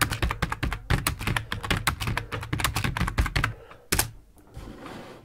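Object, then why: Plastic computer keyboard. Fingertips of both hands type on a full-size black plastic computer keyboard resting on a wooden desk. A rapid run of short, clacky keystrokes with a low, thuddy body and bright tips fills the first three and a half seconds. The typing then thins out, and a last sharp press near four seconds is followed by near quiet.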